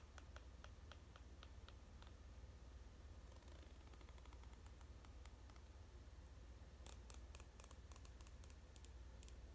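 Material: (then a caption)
Plastic. A large white plastic comb is held in both hands while its teeth are strummed and flicked with fingernails, producing quiet, bright clicks over a steady low hum. The clicks come irregularly at first, then bunch into a quicker burst near the end.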